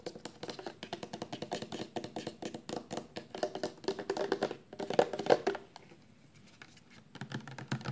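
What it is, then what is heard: Plastic shampoo bottle. Long painted nails tap fast on a full 400 mL clear plastic shampoo bottle of liquid, held lying down and then upright. Dense, irregular clicky taps with a hollow midrange tone continue steadily, peak just after five seconds, drop to a brief near-silence, then resume.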